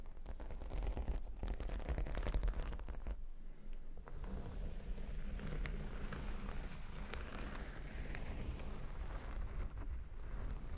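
Long nails scratch across a square cork board covered with plastic faux-pearl beads. The result is a steady, dense scratching and rustling with scattered crackly clicks over a heavy low rumble.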